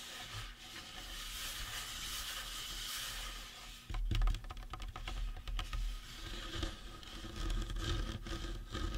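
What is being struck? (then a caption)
Resin or plastic prop skull. Fingertips scratch and tap the face and cranium of a life-size painted resin or plastic Halloween prop skull. A soft, steady scratching hiss runs through the first four seconds, then gives way to quick, sharp hollow taps mixed with scratching over a low rumble.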